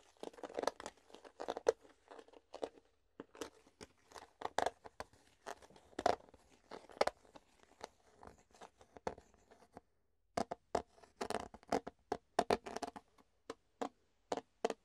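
Fingertips tap and squeeze an empty, hollow clear plastic food container held up in the air, making quiet, dry clicks and crinkling crackles that pop with a hollow midrange tone. The sounds come in quick irregular bursts with short pauses and a brief silence near the ten-second mark, and each tap dies away almost instantly.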